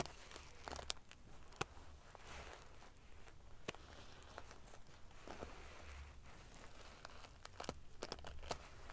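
Long painted fingernails scratch and ruffle the rows of silver metal sequins covering a large padded pillow. A quiet, steady crinkly rustle runs throughout, broken by sharp, bright metallic clicks and ticks as the pieces flip against each other, over a faint low rumble.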